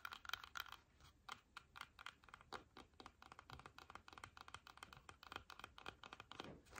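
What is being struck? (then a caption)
Whole apple. Long fingernails tap and scratch the skin of a solid, whole red apple as it is held and turned in the hands. The result is a rapid, uneven run of quiet, dry clicks with no ring, mixed with short scratchy strokes, mostly bright and high with very little low end.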